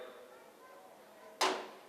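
A metal one-rupee coin is dropped from above onto an iron plate, striking it once with a sharp, bright metallic clink at about 1.4 seconds after a quiet stretch of faint room sound. The ring fades over roughly a fifth of a second.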